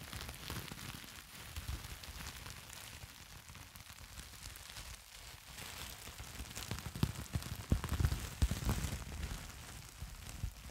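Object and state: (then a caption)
Plastic bubble wrap. A crumpled sheet of clear plastic bubble wrap with hollow, air-filled bubbles is held in both hands close to the microphone and squeezed and crinkled with the fingers. A steady crackling crinkle runs throughout over a low, rumbling handling noise. It grows louder, with sharper snaps and pops, in the second half.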